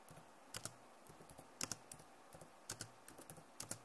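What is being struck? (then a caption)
Plastic laptop keyboard. Fast typing with both hands and long nails on a backlit plastic laptop keyboard. The clip gives bright, crisp clicks in irregular bursts, with louder double taps standing out against softer keystrokes. Each click dies away almost at once.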